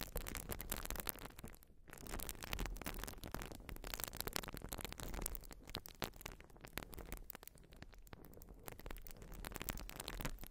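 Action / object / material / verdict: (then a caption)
scrape / urethane foam sponge scratched with fingernails / urethane foam / none. A white porous urethane foam sponge is scratched with long nails. Dense, crackly scratching strokes run almost continuously, with a soft low rumble underneath and brief dips between bursts. The texture is rough and even throughout, with bright crackle over a heavy low end.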